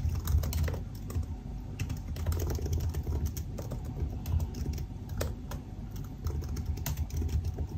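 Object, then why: Laptop keyboard with plastic keys in an aluminium body. Both hands type continuously with their fingertips on the black plastic keycaps of a silver aluminum laptop resting open on a desk. The hollow scissor-switch keys give a steady, dense stream of short, soft taps with a low, muffled thud around 70 Hz and only faint bright clicks on top.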